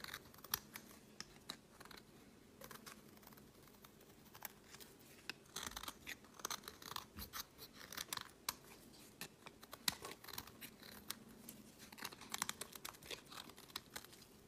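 A solid pink bar of soap is carved and scraped with a metal utility blade, its flakes and curls falling onto a woven mat. The sound is quiet, with crisp, bright scraping and sharp little clicks that come irregularly throughout, each dying away almost instantly, over a faint low hum.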